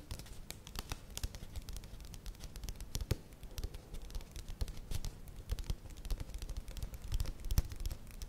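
Long nails scratch along the side and rim of a plastic yogurt tub, held tilted in the hands and then set down. Dense, dry scratching comes in quick, short clicks and rasps with a few sharper ticks. The sound stays quiet and close throughout, with no ringing after each stroke.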